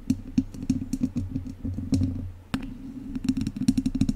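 Two wooden chopsticks scratch and tap along the sides of a hollow metal mesh microphone grille, making a fast, uneven run of short, dry clicks and scrapes. A low, steady rumble sits underneath, and each contact ends abruptly with bright, crackly edges and no ring.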